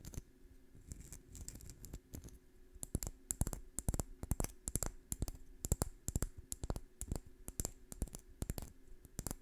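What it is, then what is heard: Dry pine cone. Long fingernails scratch and flick across the scales of a small, dry brown pine cone held in one hand close to the microphone. Quick, dry ticks and clicks come in irregular bursts over a faint low hum, each snapping off almost instantly.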